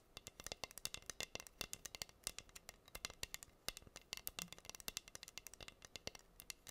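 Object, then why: Wooden board covered in acrylic rhinestones. Long nails scratch and tap the pink acrylic rhinestones covering a flat, solid wooden heart board. The result is a quiet, rapid, irregular stream of sharp, bright clicks and scratchy ticks that stop almost instantly, with very little low end.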